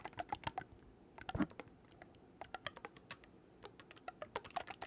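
Fingers quickly click the metal keys of a black wooden oboe, a hollow tube held close to the mic. Rapid bursts of short, dry clicks and soft taps come in clusters with brief quiet gaps between them, each click dying away almost instantly.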